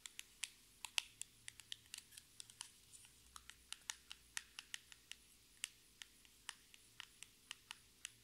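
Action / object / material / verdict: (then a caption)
tap / small cardboard box tapped with fingernails / cardboard / none. A small, hollow orange printed cardboard lipstick box, held in both hands, is tapped and scratched with long red acrylic nails. About thirty-one sharp, dry, bright clicks come at an irregular, unhurried pace, each dying away almost instantly, over a faint low hum.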